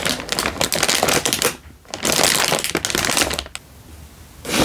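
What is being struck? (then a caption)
Instant noodle packet in a plastic wrapper. A single full Indomie instant noodle packet in a crinkly plastic wrapper is held in one hand and crinkled with the fingertips. Bright, dry crackling comes in dense bursts, with a brief lull near the middle and a quieter stretch before a final burst. Each crackle stops almost instantly with no ring.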